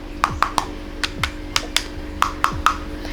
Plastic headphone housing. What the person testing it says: ketika gue ketuk agak sedikit kopong memang